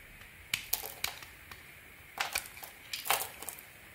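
A small metal blade scratches and carves flakes from a solid, hand-sized, faceted turquoise bar of soap held in the palm. About ten short, crisp, bright scraping crackles come in uneven bursts, each dying away almost at once, with quiet pauses between them.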